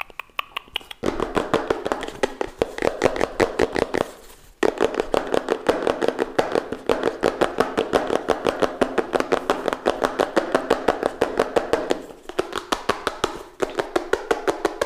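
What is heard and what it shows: A small, hollow, closed pink-purple printed cardboard retail box for a Redmi Note 7 Pro phone is held in both hands near the microphone and tapped and scratched with fingertips and nails. Fast, uneven bursts of dry, hollow, papery taps with a midrange tone follow one another, with a quiet start and a brief pause near the middle. Each tap dies away almost instantly.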